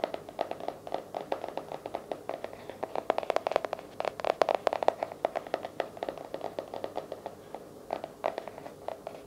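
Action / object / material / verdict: tap / hardcover journal / cardboard / none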